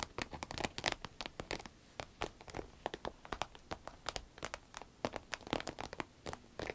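Long red nails tap and scratch a small, hollow, soft cylindrical green vinyl zip pencil case, working over both its body and its zipper. A quick run of many short, dry, crinkly clicks and scrapes comes in uneven bursts, with a bright top that dies away almost at once.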